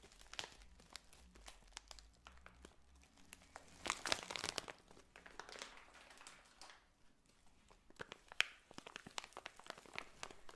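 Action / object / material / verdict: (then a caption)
scrape / plastic bag of dried potpourri / plastic / none. A clear plastic bag full of dried potpourri, decorated with a ribbon, is squeezed and rubbed with fingers and long nails. It gives a steady, quiet, bright crinkling and crunching with many sharp clicks. A louder burst of crinkling comes around four seconds in, and another cluster follows near eight seconds.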